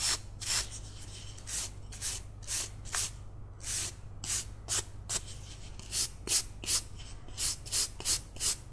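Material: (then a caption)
Wood. A palm-sized, solid, carved wooden cat figurine is turned in one hand while its surface is scrubbed with toothbrush bristles. About 17 short, bright, hissy scratching strokes come in an uneven rhythm, each fading almost at once. A faint, steady low hum runs underneath.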